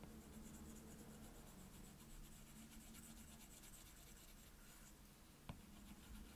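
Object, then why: Plastic stylus tip on glass tablet screen. The plastic tip of an Apple Pencil scribbles back and forth over the glass touchscreen of a solid, flat iPad tablet, making a steady, quiet scratching rub. Near the end, a single short, sharp tap stands out above the scratching.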